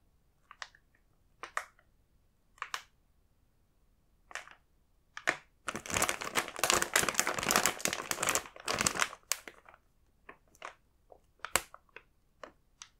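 A full, large plastic Koala's March multipack bag is held in both hands while a fingertip taps on the printed koala images and rubs the film. Scattered crisp, bright taps and crinkles give way to a dense stretch of continuous crinkling in the middle, then sparse taps return toward the end.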